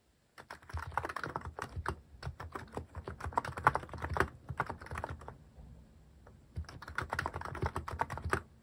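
Fingertips type steadily on a Hanmumu mechanical keyboard fitted with plastic cat-shaped keycaps, producing a fast run of short, dry clacks with a soft low thud under each keystroke. The typing eases into a brief lull about two-thirds of the way through, then picks back up at the same brisk pace.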